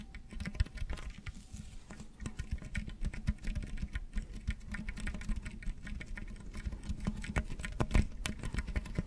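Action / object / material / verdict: scrape / corrugated plastic tube / plastic / none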